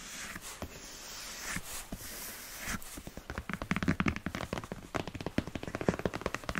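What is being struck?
Empty leather boot.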